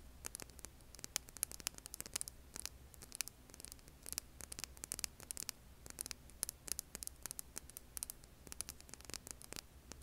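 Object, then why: Hand-sized rough rock. Long painted nails scratch and tap a hand-sized, solid rough rock held over an earbud mic. Dense, quick, bright clicks and gritty scrapes crackle over a steady low hum and faint static.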